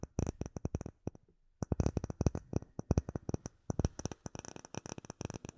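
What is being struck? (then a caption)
Clear acrylic plate. Long nails tap rapidly on a solid, clear acrylic plate with embedded bubbles, producing a quick run of dry, very short clicks, each with a bright tick on top and a soft low thump beneath. The tapping pauses briefly after the first second, then resumes in dense, uneven bursts until the end.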